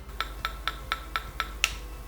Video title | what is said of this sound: 🥚 Toate secretele celor mai Apetisante 🐣 Ouă Umplute [5 Variante] 🥚 Șef Paul Constantin | el s-a fisurat superficial, să zic așa. Nu iese albușul absolut deloc.